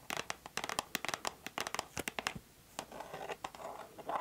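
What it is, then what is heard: Cardboard box scratched with fingernails. Long nails scratch across the front of a white cardboard Mademoiselle perfume box in close-up. A fast run of sharp, dry scratching and tapping clicks reaches into the high range, with a brief quiet gap and then a softer, hissier stretch of scraping.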